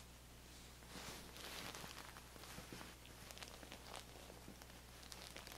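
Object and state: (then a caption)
Fabric feather pillow. Long manicured nails and fingertips scratch and trace along the striped, cotton-like fabric cover of a soft, stuffed feather pillow held upright against the body. The result is quiet, bright, scratchy rustling and crinkling that swells and fades in short strokes over a steady low hum.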